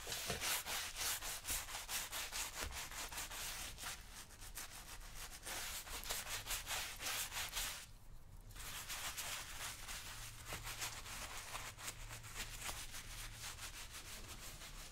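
A wooden-handled bristle brush scrubs the cream-coated black leather upper of a work boot worn on a foot. Steady, bright, scratchy brushing strokes repeat in a loose rhythm, with a brief quieter pause around the middle before the scrubbing resumes.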